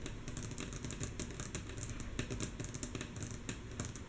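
Long natural fingernail tips of both hands tap rhythmically and softly on a flat, solid, light wooden tabletop. The result is a fast, steady stream of quick, dry, bright clicks that die away almost at once, over a low, constant rumble.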